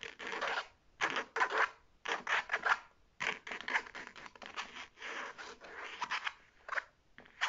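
Long painted nails scratch the striped fabric flap of a hollow navy faux leather shoulder bag held up in the air. The result is bursts of dry, rasping scratches with quick bright strokes, centered around 1.4 kHz with almost no low end. Each burst is separated by brief silences.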